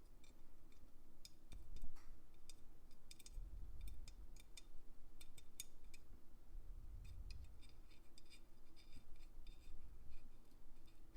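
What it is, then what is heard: Santa figure Christmas ornament. A Santa figure Christmas ornament dressed as a baker in a chef's hat, with a smooth top to its head, is tapped repeatedly. Light, sharp, glassy ticks ring out over a steady low rumble.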